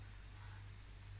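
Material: Nothing is struck.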